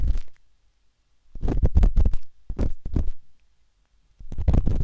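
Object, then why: Silicone ear of a binaural microphone scratched with a metal dot stick. The metal tip of a wooden-handled dot stick scratches inside the ear canal of a pale pink, soft, solid silicone ear on a binaural microphone. Bursts of deep, muffled rubbing and scraping come in three clusters, separated by near-silent gaps. The sound is dominated by low rumbling thuds with little high content.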